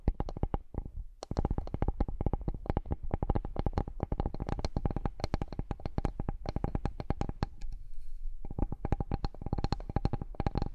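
Fingertips and nails tap and scratch the surface of a large, solid, flat bamboo cutting board. Quick runs of dry, short-ringing taps with a low, thudding body come in bursts, with a brief pause early on and a softer, scratchier stretch near the end before the tapping resumes.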